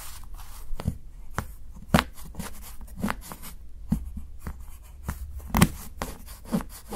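A steel kitchen knife chops thin shavings from the edge of a solid dark chocolate bar held by fingertips. Nine short, crisp cuts land at uneven intervals, each a quick snap with a low thud and a brief bright crackle that dies away almost at once over a soft, steady background.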